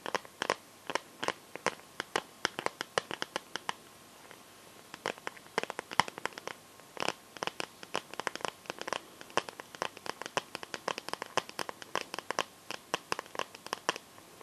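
Long nails tap and scratch the back of a hand-sized smartphone in a clear plastic liquid-glitter case. Dozens of sharp, dry clicks come in quick irregular bursts, bright with almost no low end and no ring, mixed with light scratchy scrapes. There's a brief quieter stretch around four seconds before the tapping resumes.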